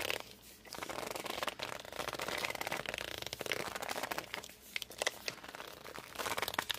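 Hands grip and rub the glossy cover of a hardcover book held sideways, producing dense, bright squeaks and crinkly friction with almost no low end. The rubbing comes in uneven bursts with short sharp squeaks and ticks, pausing briefly near the start and again midway.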